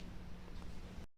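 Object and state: Nothing is struck.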